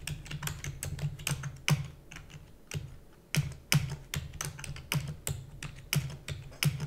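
Fingertips with long nails tap rapidly on the keys of a black plastic computer keyboard. The result is a quick, uneven stream of short, sharp clicks, each with a low, hollow thud under a bright tick that dies almost at once. A few louder strikes stand out from the steady patter.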